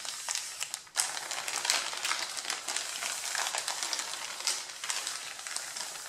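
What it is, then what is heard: Stack of printed paper sheets, crinkled. Flat hands and fingertips rub and scratch across the crinkled top sheet of a stack of thin white printed pattern paper and lift pages off. The result is a dense, bright, continuous crinkling and rustling with almost no low end. A brief near-silent dip just before the one-second mark is followed by a sharp, louder burst of crackle.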